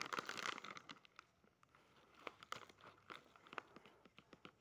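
A small, sealed, printed plastic/foil pouch of mini chocolate-chip cookies (Doraemon limited edition), still full, is squeezed, rubbed and crinkled between fingertips and thumbs while being turned. A dense burst of bright crinkling opens the clip, followed by irregular, sharp, short crackles and crunches.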